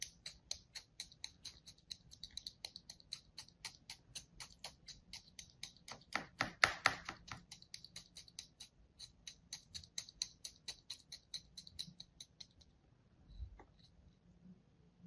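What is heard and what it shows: A thin metal blade crosshatches a solid slab of kinetic sand resting on a palm with many quick strokes, about fifty in all. Each stroke makes a short, dry, bright scratch in a steady rhythm, with a denser, louder flurry of cuts around the middle. The strokes stop shortly before the end, leaving faint quiet.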